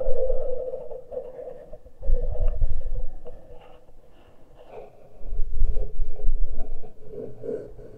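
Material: Metal.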